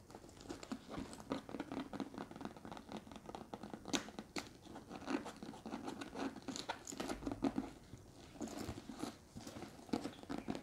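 Long red acrylic nails scratch and tap the sides of a hollow, medium brown leather (or faux leather) structured handbag with handles and metal rings, held up. The result is a steady stream of dry, crackly scratches and quick taps with a slightly crunchy texture, centered in the low mids with occasional brighter clicks, and each touch dies away almost at once.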